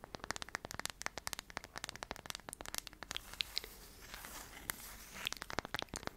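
A solid round light-wood tree slice coaster is held in the hands while long nails tap and scratch its face. Dense, sharp, bright clicks come in quick irregular bursts, with a softer stretch of steady scratching in the middle before the taps return.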